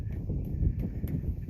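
A hand knocks on the steel tank of the Mayfield water tower, which is full and holds about 150,000 gallons of water. The knocks are dull, low thuds with almost no ring and no bright overtones, sounding solid because of the water inside.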